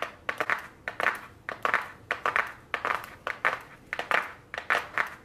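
Very long blue nails tap a small, flat white cardboard eyeshadow palette box held in the hands. The taps are crisp and papery, with a dry, hollow tone around the middle range, brief bright edges, and almost no ring. They land in quick irregular clusters of two or three across the clip.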